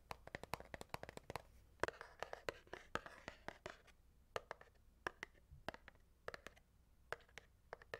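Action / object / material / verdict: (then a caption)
tap / cardboard matchbox full of wooden matches / cardboard / none. A closed, full Redbird cardboard matchbox, small and rectangular and holding 250 wooden matches, is held in one hand and tapped on its top and sides with the fingertips of the other. Quiet, dry, bright taps come in quick irregular runs, with a soft rustling texture between them in the middle of the clip. Each tap dies away almost instantly.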